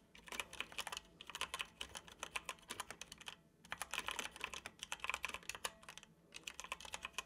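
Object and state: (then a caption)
Plastic computer keyboard. Fingertips type quickly on a dark plastic computer keyboard, producing a rapid stream of sharp, bright key clicks. The typing comes in bursts with brief pauses between them, and each click is short and dry with almost no low end.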